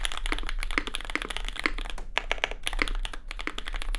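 A compact red custom Cloudline mechanical keyboard, with plastic keycaps, an aluminium plate and lubed SP Star Sacramento switches, is typed on continuously with the fingertips of both hands. It gives a dense run of short, crisp clacks that peak around 2 kHz with bright top edges. Each one ends almost instantly, with one brief pause midway.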